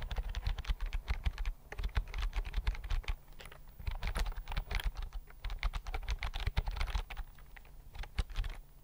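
Fingertips type on a thin white plastic keyboard with flat chiclet keys, held in both hands close to the microphone. A steady run of rapid, uneven key clicks is heard, each short and dry with a soft low thump and a light bright tap, dying away instantly with no ring, and brief lulls between bursts.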